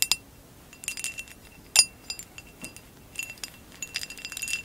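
Long acrylic nails tap on top of a hollow amber glass vase with a woven relief pattern, lying on blue fur. An irregular series of short, bright glassy clicks and clinks follows, each dying out almost at once, with a faint steady tone around 2.7 kHz and almost nothing in the low end.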